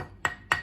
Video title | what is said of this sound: How to butcher a lamb, How to cut up a lamb, How to process a lamb | if you tap along, you hear the bone. When the bone stops, that's the joint.